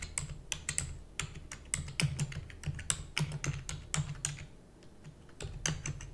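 Long-nailed fingertips type rapidly on a black plastic computer keyboard. Sharp, bright clicks and clacks come in quick irregular bursts over a low, steady hum.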